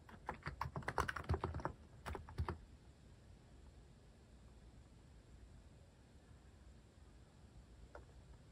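Fingertips type on a full-size cream mechanical keyboard with sculpted plastic cat and paw keycaps, resting on a wooden desk, pressing keys repeatedly. A quick, uneven burst of deep, clacky keystrokes fills the first two and a half seconds. Then only a low hiss remains, with one faint click near the end.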